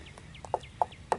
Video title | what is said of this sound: The Utility Pole is Finally Set & Hooked Up | hear that that's pretty solid